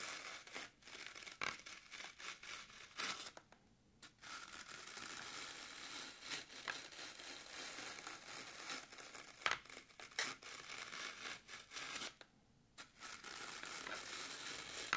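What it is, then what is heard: Floral foam block. Long acrylic nails scratch and puncture the grooved top of a solid, soft, crumbly green floral foam brick resting on a table. The sound is a dense, bright, crunchy scratching and crackling with little low end. It stops briefly around 3.5–4 seconds and again around 12–13 seconds before resuming.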